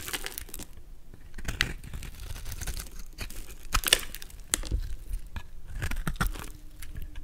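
A golden utility knife blade scrapes and shaves a solid, palm-sized white soap bar with a yellow outer layer, held in the hand, into curls and flakes. Dry, crinkly scraping strokes come in irregular bursts with bright, crisp edges over a low, soft rumble. Each cut ends quickly with no ring.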